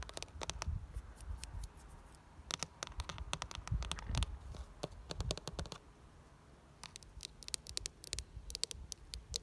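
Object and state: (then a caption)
Plastic flower planter box. A medium-sized red ribbed plastic planter box filled with soil and geraniums is scratched and tapped with long nails. Quick, dry clicks and scratchy rasps come in clustered bursts, with bright, sharp transients over a low rumble. Each tap dies away almost instantly.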